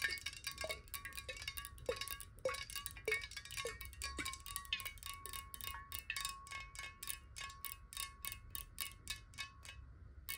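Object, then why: Glass water bottle with some water. Long nails tap quickly and unevenly along the side of a clear glass water bottle, partly filled with water and held horizontally in both hands. Each bright, clicky tap dies away fast over a steady glassy ring near 1 kHz and a faint low rumble.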